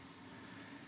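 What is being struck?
Nothing is struck.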